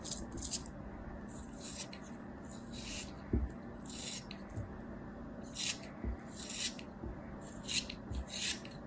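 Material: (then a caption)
Kinetic sand. A small, solid block of kinetic sand is held in the fingers while a metal craft knife shaves and scrapes its corners. Short, bright, gritty scraping bursts repeat over a quiet, steady low background, with an occasional soft low tap.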